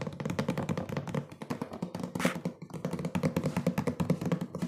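Fingertips and nails tap fast on a hollow, medium printed cardboard cookie box with its top flap open. The result is a rapid, uneven stream of dull, hollow thuds with a low body and very short decay. A brief, brighter scratchy burst rises near the middle.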